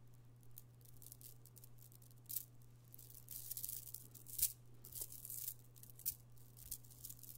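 An amethyst stone chip bead necklace, a strand of small solid purple stone chips, is piled into an open palm and stirred and rolled with the fingertips. The chips give off quiet, bright, rattling clicks, with a few sharper, louder clacks standing out from the steady patter. A low, constant hum runs underneath throughout.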